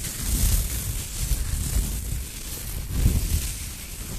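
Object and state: Nothing is struck.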